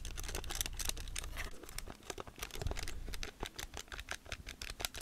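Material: Plastic.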